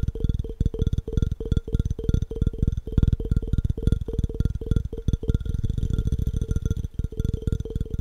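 Fingertips tap rapidly on the body and base of an empty, hollow clear glass jar held sideways. The taps come as a fast, steady stream of short, low, dull knocks that die away almost instantly, with a faint ringing tone above them.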